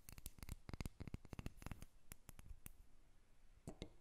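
A small, solid carved wooden dolphin figurine on a glass table is briefly lifted, then tapped and scratched with long acrylic nails. Quick, dry clicking taps come in a dense flurry for the first two seconds, thin out into scattered taps and soft scratching, and end with two louder taps. Each tap is short and dies away almost at once.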